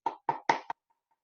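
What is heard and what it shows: Someone knocks on a paper book four times, each a short, dull thud centered around 900 Hz with almost no low end, followed by silence. The knocks demonstrate how materials of different density sound different, as an analogy for seismic waves passing through Earth's layers.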